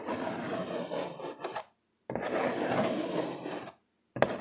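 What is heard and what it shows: Fingertips and short nails scratch and rub hard near the bottom edge of a flat brown corrugated cardboard sheet held upright. Three dry, raspy scratching bursts are heard, separated by brief silences, with a gritty midrange texture and a bright edge. The last burst starts with a sharper scrape and is cut off at the end.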